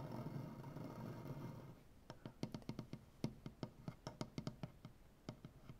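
One hand works a solid light wood butcher block tabletop with its fingertips and nails. A dense, low, scratchy texture fills the first couple of seconds. It gives way to about twenty short, dry, woody taps and knocks with a low hollow tone and almost no ring.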